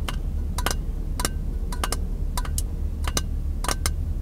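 A small, empty, hollow clear glass jar is held in both hands while fingertips and nails tap on the glass. Short, bright clinks come in quick pairs and clusters and die away almost at once, over a steady low hum.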